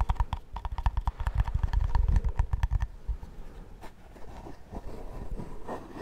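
Fingernails tap quickly on the screw lid of a hollow, round, cream-coloured plastic shaving cream tub held in one hand, giving a run of short, hollow, thumpy knocks with a faint ringing tone for about three seconds. The tapping then gives way to quieter, softer scratching and rubbing on the lid.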